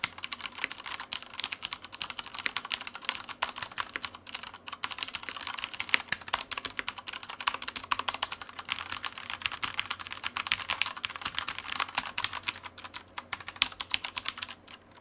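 A black Typhoon Mars Pro tenkeyless mechanical keyboard with Cherry brown switches, plastic keycaps and a light, solid frame sits on a white desk and is typed on continuously with the fingertips of both hands. The steady stream of short, bright, clicky key presses stops almost instantly after each one, with almost no low end.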